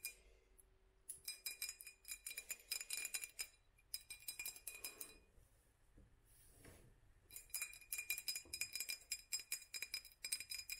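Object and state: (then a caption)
Textured glass jar. A hollow glass jar with raised black dots and a metal screw rim is held in both hands and tapped and scratched with long nails. Bursts of quick, bright glassy clicks and clinks are heard, each dying away almost at once. They break around the middle for a softer scratching stretch, then pick up again.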